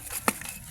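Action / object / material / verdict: knock / jackfruit on the tree / fruit / ripe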